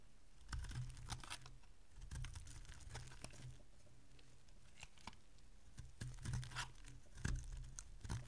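A solid, dry green bar of soap, held by long-nailed fingers, is carved with a small metal blade, and chips break off it. The result is a quiet, irregular run of crisp scraping and crunching clicks with bright edges. They rise into louder clusters over a steady low rumble.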